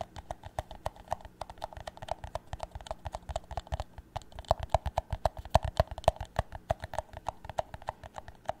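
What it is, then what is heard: Plastic cup tapped with nails. A tall, empty, hollow clear plastic cup is held sideways while fingernails tap and scratch its thin plastic wall. The result is a quick, steady stream of short, dry clicks with a faint hollow ring around 670 Hz and a soft low thump under each tap.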